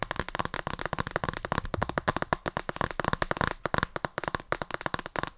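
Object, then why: Plastic handheld game console with glass screen. Long dark nails tap quickly on the plastic casing and glass screen of a Nintendo Switch console with red and blue Joy-Cons, held close to the mic. The result is a dense, steady run of short, dry clicks with a bright edge and almost no ring.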